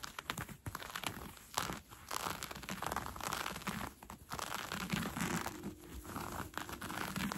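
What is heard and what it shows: Fingernails scratch along the elastic waistband of brown cotton fleece sweatpants being worn, giving a dense, continuous run of soft crinkly, rustling scrapes with a bright edge. The strokes come in short bursts with brief dips between them, and there is no ringing tail.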